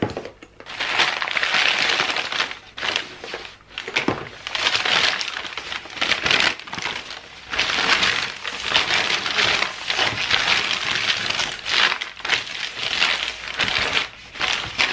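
Thin white packing tissue paper is squeezed into a ball in the hand, then unfolded and spread flat on a wooden table, where fingertips crinkle, press and smooth it out. The result is a dense, bright, crackling crinkle with almost no low end, swelling and easing in waves with brief quiet gaps between handlings.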